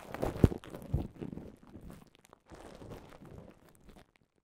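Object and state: Plastic bubble wrap.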